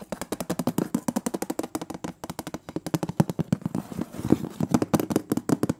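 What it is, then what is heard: Metal cookie tin lid. Fingernails tap rapidly across the printed metal lid of a large, round, closed metal butter cookie tin. About forty quick, separate taps sound dry and clicky with a hollow, mid-low body and almost no ring. The rhythm is steady, with some taps landing harder than others.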